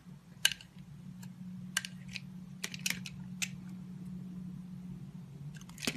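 A solid green bar of soap held in the hand is shaved into curls with a utility knife blade. Sharp, bright scraping crackles sound in scattered short bursts over a steady low hum, ending in a denser scrape.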